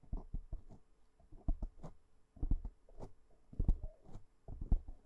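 Long nails of one hand scratch and tap a black foam windscreen on a microphone. Soft, muffled low thumps mix with brief scratchy brushes in irregular bursts of quick taps. Each sound is dry and dies away at once.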